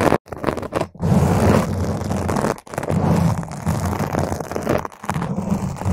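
Long pointed green acrylic nails of both hands grip the sides and top of a purple spherical foam windscreen on a microphone and scratch it. The result is a dense, muffled, rumbling scrape, heavy in the low end with almost no bright content. It is broken by a few brief silent gaps where the nails pause.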